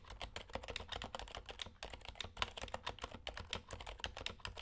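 Both hands type with their fingertips on a compact HHKB Hybrid Type-S keyboard with dark, white and red plastic keycaps and silent Topre switches. A rapid, steady stream of soft, muted keystrokes: about 30 short thocks with brief bright clicks and almost no ring. A low hum sits underneath.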